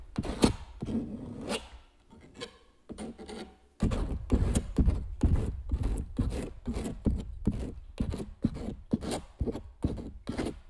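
A metal palette knife scrapes gel medium along the edge of a stretched canvas print. Short, dull, rasping strokes repeat at an uneven pace, quiet and sparse at first, then steady and louder from about four seconds on. Each stroke is low and muffled and stops quickly.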